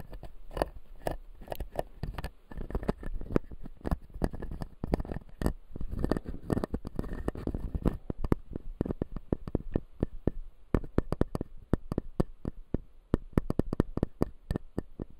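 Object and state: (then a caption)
Plastic dental model with resin teeth. Fingertips and nails scratch and tap the front teeth of a clear acrylic dental model with blue resin teeth while the other hand steadies the model. A dense patter of short, dry clicks and scratchy rubs fills the first half, then gives way to sparser, sharper taps. Each tap stops almost instantly with no ring.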